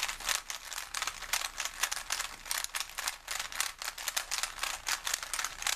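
A small plastic Rubik's cube with colored stickers is held in both hands while fingertips twist and turn its layers. Dense, bright rattling clicks come in quick bursts with almost no low end, each click dying away almost instantly.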